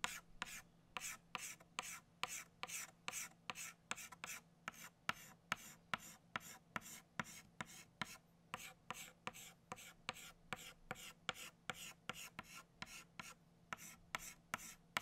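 A hand shades the center of a flower on a flat black chalkboard with back-and-forth strokes of an orange chalk stick. About 40 short, dry, bright scratches come in a quick, slightly uneven rhythm of roughly two per second. A faint steady low hum sits underneath.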